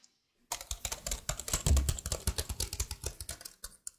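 A detached plastic laptop keyboard is held above the mic while fingertips with blue nails press, tap and rub its keys. After a brief near-silence, a dense, rapid run of bright plastic clicks and soft low thumps begins, with short gaps near the end.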